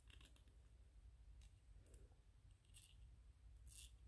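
Fingernails scratch and tap the sides of a small white PLA plastic 3D-printed ghost figurine held upright. Quiet, bright, crisp ticks and short scrapes come through at irregular intervals over a steady low hum.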